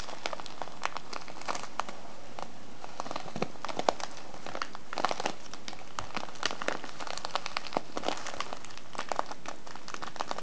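A small, filled kraft paper tea bag with a plastic window has its folded top crinkled and squeezed with fingers and nails. Dense, steady crinkling and crackling runs throughout, with many quick, bright snaps over a soft low rustle. It stays at a quiet, even level for the whole clip.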